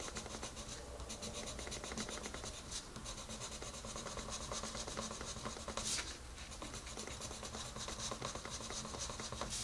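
A colored pencil held in the fingertips is rubbed back and forth to shade a rabbit drawing on the page of a large open paper coloring book. It makes a continuous, bright scratching and rubbing on the paper throughout, with a steady low hum underneath.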